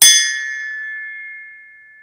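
A forged steel axe head hung by a string is struck once, giving a bright metallic ping followed by a clear, sustained ring near 2 kHz that slowly fades over about two seconds. The long, true ring marks it as a high-quality, pure piece of forged steel, rather than cast iron, which would give a dead thud.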